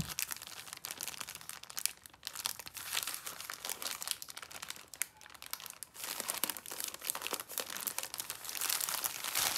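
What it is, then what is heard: Plastic film snack multipack. Fingertips with long painted nails handle, squeeze and flip a sealed, full, soft-sided yellow printed plastic film multipack of eight Rocky caramel bars. Dense, bright crinkling and crackling of the film runs continuously, with quick sharp crunches and almost no low end. The sound swells and dips as the pack is worked, growing loudest near the end.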